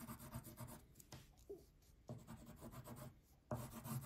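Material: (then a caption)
Paper. A blue wax crayon is rubbed back and forth across the background area of a thin paper coloring page lying flat on a table. It makes soft, scratchy, waxy rasping strokes that come in bursts with brief quieter pauses, weighted toward a low papery rumble.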